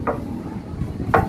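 Two knocks on a steel plate protective bumper guard accessory under the rear of a 1997 Toyota Kijang. Each produces a short metallic tonk around 770 Hz that dies away quickly over a low background rumble. The sound shows the guard is steel plate, not plastic.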